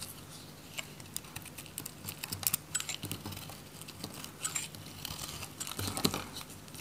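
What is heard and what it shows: An orange, solid bar of dry soap is held in the hand while a metal utility knife shaves, cuts and scrapes its surface. The result is a quiet stream of crisp, dry crackling and scraping ticks with bright, high edges. The ticks are dense and short, and a few louder crunches stand out near the middle and the end.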